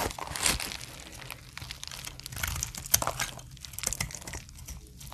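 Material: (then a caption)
Glycerin soap. A hand with long painted nails holds a solid, translucent brown glycerin soap bar while a utility knife blade shaves it repeatedly, scraping and cutting off curls. The sound is a steady run of dry, crisp crinkling and crunching scrapes, mostly bright and high, with short sharp clicks. One louder snap stands out near the middle.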